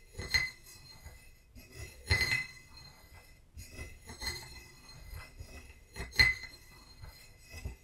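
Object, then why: Small ceramic vase. A wooden stick taps a small, hollow, painted ceramic vase holding dried lavender as it stands on a book. Four bright clinks ring at about 2 kHz and fade quickly, with quiet rustling between the taps.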